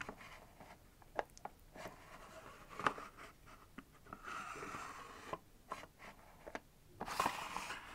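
Long nails tap and scratch the clear drawer fronts of a small, hollow, mostly empty white and clear plastic multi-drawer organizer. Quiet, sharp plastic clicks with almost no ring are scattered among soft, hissy scratching strokes, with a longer scratch near the middle and a brighter burst near the end.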